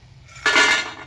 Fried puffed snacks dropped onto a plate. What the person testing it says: किती छान असा कुरकुरीत आवाज येतोय त्याला